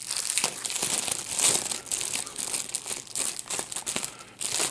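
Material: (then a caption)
Plastic. A piece of clear plastic bubble wrap with small air-filled bubbles is bunched in both hands while the fingers twist it and pop the bubbles. It makes a steady, dense crinkling with bursts of sharp, bright snaps that stop quickly, and almost no low end.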